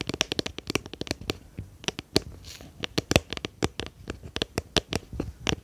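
A small, round, clear plastic tub with a lid, hollow and apparently empty, is held in both hands behind the microphone and tapped and scratched with long painted fingernails. A quick, irregular run of about 26 crisp, hollow clicks rings out, each dying away almost at once, with soft scratchy rustling between them and a bright edge on the sharper taps.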